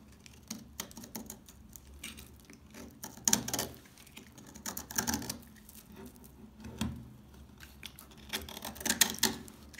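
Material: Soap.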